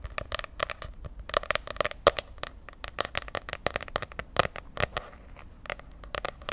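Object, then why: Laminated cardboard notebook cover. Long painted nails scratch and tap the glossy, popsicle-patterned laminated cardboard cover of a medium spiral-bound notebook held in one hand. A rapid, uneven run of sharp, dry clicks with a midrange body and bright edges, each dying out almost instantly, is heard over faint scratchy crackling between the taps.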